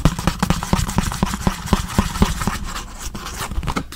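A small, hollow orange printed cardboard product box is held in one hand beside the mic and tapped quickly with the fingertips and nails. A rapid run of dull, hollow knocks, about four per second, with a low pitch near 190 Hz and a quick decay, is layered with light scratchy nail clicks. After about two and a half seconds the taps grow softer and blur into a quieter rustle.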